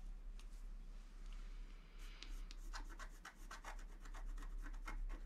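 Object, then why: Scratch art card, coated paper scraped with a wooden stylus. A wooden stylus held in the right hand scratches the black coating off a flat scratch art paper sheet held down by the left hand. Soft, dry rubbing gives way to a quickening run of short, bright scraping strokes over a steady low hum.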